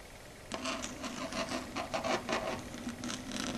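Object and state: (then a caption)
Chalkboard scratched with nails. Long red stiletto nails rub and scratch across a flat, solid, dark grey chalkboard surface. After a brief quiet start, a steady run of dry, bright scraping strokes rises and falls in quick, uneven pulses with a faint low hum underneath.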